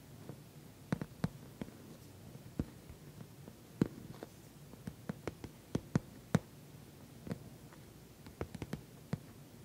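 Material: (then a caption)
Vinyl. Long nails tap and scratch the top of a glossy orange patent vinyl cosmetic bag. Sharp, dry clicks come at an irregular pace, with soft scratching between them over a quiet, low background. Each tap stops almost at once, with no ring.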